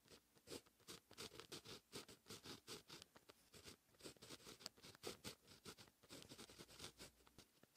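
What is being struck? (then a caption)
Fine pen on a lined paper notebook page. A grey-gripped fine pen writes handwriting on a lined white paper notebook page in steady strokes. Each stroke is a short, bright, dry scratch with a quick rise and fall, repeating in a close, even rhythm. The scratching is quiet, with little low end.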